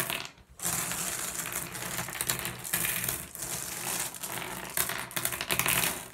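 Fingers grab a handful of small, solid blue glass gem pebbles and pour them from one hand into the other over the pile. The gems make a dense, bright, continuous clatter of tiny clicks that briefly dips near the start and then runs steadily throughout.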